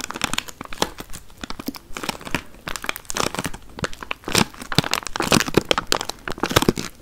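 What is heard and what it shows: A small clear plastic tray full of watermelon chunks, sealed with a thin plastic film, is held in both hands close to the mic and tapped and scratched with long painted nails. The result is a rapid, uneven stream of dry, bright crinkles and clicks from the film, with short crisp taps that die away almost instantly.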